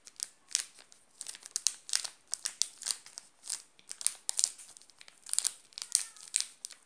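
A flat hand presses and rubs a full, sealed Garoto chocolate bar in a shiny yellow plastic wrapper. This produces a steady stream of quick, bright crinkles with almost no low end. The crackles are dense and crisp, with short gaps between bursts.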